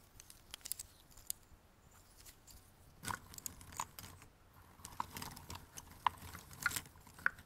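Both hands scoop, rub and shuffle a pile of small, thin, solid cardboard jigsaw puzzle pieces in a white cardboard box, while fingertips tap and drag through the pile. The result is quiet, dry rustling and scraping, broken by short, bright clicks and ticks as pieces knock together.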